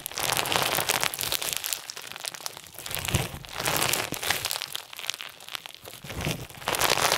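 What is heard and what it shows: Fingertips press and fold a clear slime densely filled with round pink and white plastic sequins, then stretch it out into a thin sheet. A bright, dense crunchy crinkling and crackling rises and falls in repeated swells, with little low-end.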